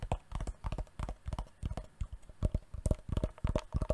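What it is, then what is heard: Wooden box. A wooden box is tapped repeatedly with quick, uneven clusters of taps for ASMR. Over twenty short, dull, low-pitched knocks die away almost instantly, with no ringing between them.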